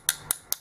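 A purple acrylic drip-tip blank is tapped three times with a metal object, giving short, sharp, high-pitched clicks that die away almost instantly. The acrylic gives a very hollow, dull sound compared with a stone blank.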